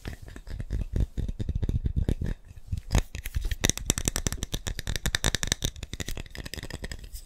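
A glass instant coffee jar, partly filled with brown coffee granules and closed with a red plastic lid, is held in both hands and tapped rapidly with the fingertips and nails on its glass sides. The result is a dense stream of short, dry taps with a low thud from the granules and brighter clicks from the nails.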